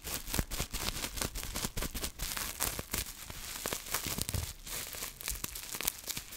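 Long manicured nails scratch and squeeze a small folded piece of clear plastic bubble wrap with air-filled bubbles, held in both hands. The result is a dense, continuous run of bright crinkling and scratching, broken by many quick, sharp crackles and clicks.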